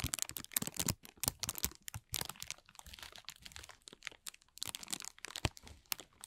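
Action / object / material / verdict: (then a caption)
scrape / thin plastic film bag / plastic film / none. A thin, clear plastic film bag is gathered and crumpled in both hands, producing dense, bright crinkling and crackling. Sharp snaps come in quick irregular bursts with brief quiet gaps, each dying away almost instantly.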